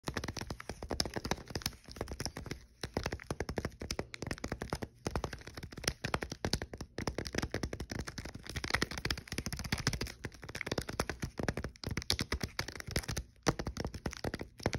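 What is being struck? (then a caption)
Chocolate wafer bar in plastic-foil wrapper. A full, unopened king size Kit Kat chocolate wafer bar in a red plastic-foil wrapper lies flat on a soft dark blanket and is tapped rapidly with fingertips and short nails. The result is a dense stream of short, crisp taps and clicks with a slight crinkle, broken by a few brief pauses.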